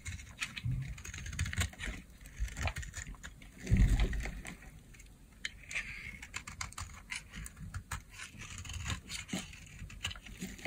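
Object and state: Dry bar soap scraped into flakes.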